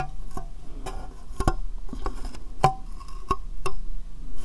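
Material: Plastic.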